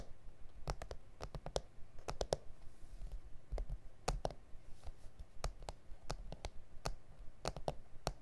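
Fingertips and nails tap and scratch the surface of a flat, solid A4 self-healing plastic cutting mat with grid lines. The result is a steady run of short, dry, sharp clicks with bright, crisp edges that stop almost instantly. Faint scratching and a low background rumble sit between them.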